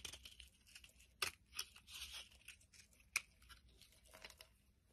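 A metal blade carves and scrapes shavings off a solid pink bar of soap held in the hand. The sound is quiet, dry, bright crackling and scraping, with a couple of sharper, crisp snaps as a cut breaks through.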